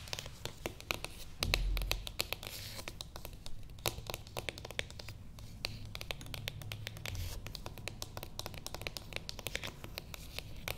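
Long painted nails rapidly tap and scratch the lid of a small, flat, beige cardboard box with printed text, which lies closed and hollow on a table. The sound is a dense stream of short, dry, bright clicks and scrapes over a low background rumble, with a brief louder thump near the start.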